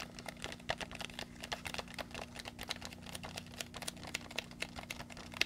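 A hand-sized blister pack of markers, a clear plastic shell holding several markers on a blue cardboard backing, is rapidly tapped and scratched with fingertips and nails close to the mic. The result is a dense stream of quick, bright plastic clicks and scratchy ticks that die away almost instantly, over a faint steady low hum.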